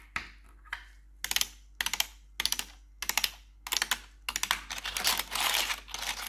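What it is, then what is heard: Plastic computer keyboard tapped with metal nails. Long pointed metal nail claws worn over blue gloves tap the keys of a black plastic RGB backlit computer keyboard. Two single, bright clicks are followed by quick clusters of sharp, clacking taps with almost no low end. The clip ends in a denser, continuous run of tapping and scratching across the keys.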